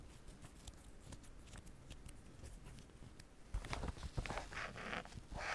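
A fingertip with painted nails traces and scratches along the printed lettering of a large black padded nylon/polyester Wimbledon Babolat racket cover lying flat. Soft, dry scratching and rustling ticks fill the first half, then the strokes turn louder and brighter, with sharper scrapes and hissy bursts toward the end.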